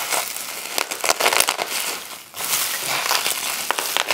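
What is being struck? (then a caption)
Plastic bubble wrap. A heap of clear plastic bubble wrap is grabbed and crushed in a fist, then pinched with the fingers so the bubbles pop. Bright, dense crinkling is broken by sharp, quick pops. There is a short lull just past the two-second mark before the crackling and popping pick up again.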